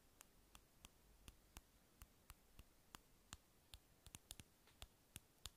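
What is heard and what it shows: Long acrylic nails tap on a small, hollow, light-blue round plastic lip balm egg held in the hand. Eighteen quick, bright, dry clicks ring out over a quiet low hiss, mostly evenly spaced, with a faster cluster near the end.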